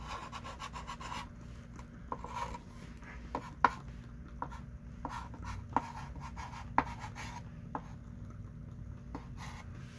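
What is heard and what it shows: A hand writes with a thick pink chalk stick on a small wooden-framed chalkboard lying flat. Soft scratchy strokes run over a low steady hum, broken by about nine sharp, short chalk taps with a bright edge near 1 kHz.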